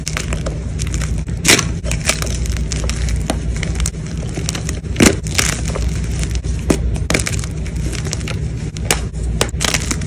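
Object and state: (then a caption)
Gym chalk block being crushed. Pieces of a white gym chalk block are crushed and crumbled between fingers with blue nails over a bed of chalk fragments at a fast pace. Dense, crisp crunching and crackling runs throughout, with a few sharper, louder snaps standing out over a steady low hum.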